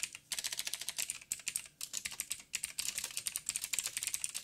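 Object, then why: Mechanical keyboard with plastic keycaps. Fingertips of both hands type on a backlit mechanical keyboard with black plastic keycaps on a silver frame and a hollow housing. About 32 quick, bright, clicky taps come in rapid bursts with short pauses, each dying away almost at once.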